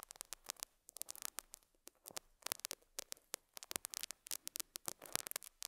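A metal dental scaler hook scratches and picks at a small square beige felt pad fitted on a lapel mic. The result is a rapid, irregular run of short, dry scratchy picks and rasps, bright and hissy with almost no low end, each one cutting off instantly over a quiet background.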